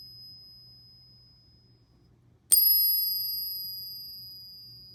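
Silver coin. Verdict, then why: Real. A silver coin is pinged once on a ping tester, giving a single bright, high-pitched ring that decays slowly over the next two seconds, and the coin is judged to be real silver rather than fake. A faint high tone from an earlier ring fades out before the strike.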